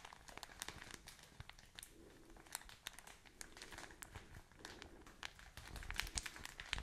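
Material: Plastic film.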